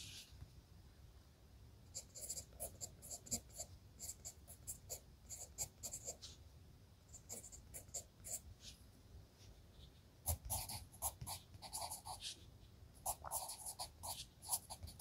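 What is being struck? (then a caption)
Graphite pencil on paper notebook page. A red wooden graphite pencil, held in the hand, scratches across a lined page of a spiral-bound notebook resting on a desk while writing. Quiet, dry, bright scratching strokes come in quick bursts separated by short pauses, with no ring after each stroke. A firmer, louder run of strokes starts around the ten-second mark.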